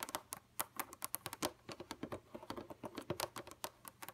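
Long pointed red nails on both hands tap rapidly on a flat, dark computer monitor screen. About 28 quick, light clicks come in an uneven patter, each crisp and bright with a dry, instant stop.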